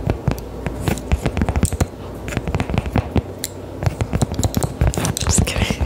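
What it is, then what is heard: Cork coaster tapped and scratched with nails. A small, round, thin solid cork coaster held in the hand is tapped and scratched with long decorated acrylic nails. Quick, dry clicks and taps come in dense uneven bursts over a low, steady background rumble, with soft scratchy rubbing between them.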